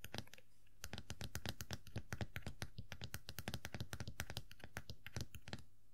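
Long nails tap and scratch the black top hat of a small hollow vinyl Funko POP Tuxedo Mask figure resting on a fabric surface. The result is a quick, irregular run of soft, hollow, low-pitched taps with crisp clicky edges, separated by faint scratching.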